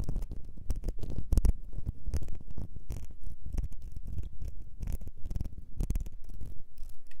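Long mauve nails scratch and tap the ribbed glass of a small, clear perfume bottle with a gold metal nozzle, partly filled with liquid and held in hands over white fur. The result is a steady, dense stream of soft, dull scratching and quick taps, heavy in the low end, with short bright ticks and no ringing after each stroke.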